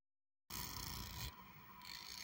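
Long acrylic nails scratch and strum along the fine teeth of a large, solid, light pink plastic comb. After half a second of silence, a dense, bright, raspy scraping starts abruptly and runs continuously. It dips quieter for about half a second midway, then builds back up.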